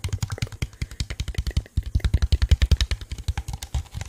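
A small, hollow, empty translucent blue plastic cup is held in the hand and tapped and scratched with fingertips and nails. About three dozen quick, dry taps come in an uneven, rapid patter, each a dull low thump with a bright clicky edge that dies away almost at once. There is a brief pause partway through before the tapping resumes.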